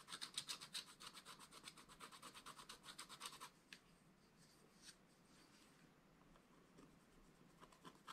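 A wooden stylus scratches across a flat, black wax-coated scratch-art paper page, making a rapid, bright rasping series of short strokes, about four per second, for roughly three and a half seconds. The scratching then drops to a faint, sparse hiss with only a few light scrapes.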